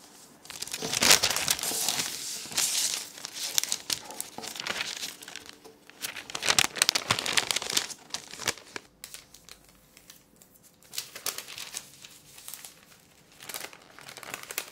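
A large, thin white sheet of parchment baking paper lies flat on a wooden table as fingertips fold, crease and rub it down. The result is dense, bright crinkling and rustling in uneven bursts, loudest in the first few seconds and around the middle. Between the bursts come quieter stretches of soft rubbing.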